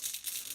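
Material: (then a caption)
Plastic. A vintage plastic Rattler action figure, a rattlesnake-based Snake Man, is shaken, making a rattle sound inside it. The result is a quick, bright, hissy rattling, almost entirely high-frequency, with no low end.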